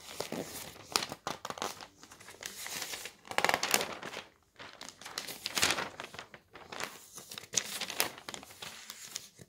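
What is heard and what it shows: Bare hands smooth the thin pages of a large newsprint newspaper lying flat on a table, pressing with the palm and fingertips, then lift and flip a sheet. Dry, bright crinkling and rustling come in several bursts with brief quiet gaps between them, with almost no low end.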